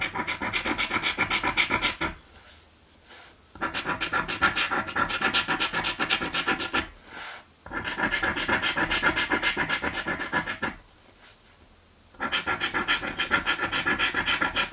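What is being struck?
Paper scratch lottery ticket.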